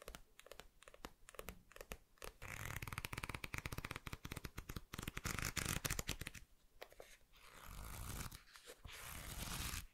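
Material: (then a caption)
Paper. Fingertips rub and scratch the glossy printed cover of a thick paperback volume of the manga *A Silent Voice* (*Koe no Katachi*), then riffle and scratch along the edges of its solid block of paper pages, while a stack of other volumes nearby stays untouched. Sparse, dry scratches and taps give way to a dense, rapid, crackling flutter with bright papery hiss. After a brief quieter spell, a second burst of riffling follows.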